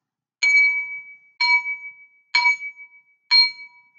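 A small, empty, clear glass tumbler held in one hand is tapped four times with a metal spoon held in the other hand. Each tap makes a bright clink whose high partials ring near 2.3 kHz before fading quickly.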